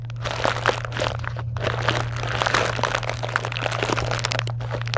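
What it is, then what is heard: Foil and plastic candy wrappers. A box of small chocolate bars in foil and plastic wrappers sits in a pile while long nails scratch across the wrappers and press them. Dense, bright crinkling and crunching rustle on almost without pause, over a steady low hum.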